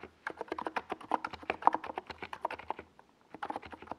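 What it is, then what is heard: Plastic mechanical keyboard being typed on. A compact NiZ Plum Atom 68 mechanical keyboard with a white plastic case, hollow body and purple Domikey Gas Attack SA plastic keycaps is typed on rapidly with fingertips. A quick run of short, hollow, mid-pitched plastic clacks carries on, pauses briefly near the three-second mark, then resumes. Each tap ends almost instantly.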